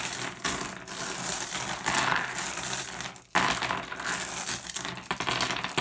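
Fingertips rake and shuffle a pile of small, solid, blue iridescent flat glass gems across a wooden surface. The result is a steady, bright clicking and clattering with little low end, pausing briefly just past the three-second mark before resuming.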